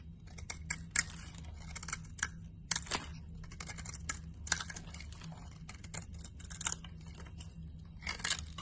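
A metal blade scrapes and chips flakes off a cream-colored carved laundry soap bar, producing crisp, bright scratches and sharp clicking snaps that die away almost instantly. A steady low hum runs underneath throughout.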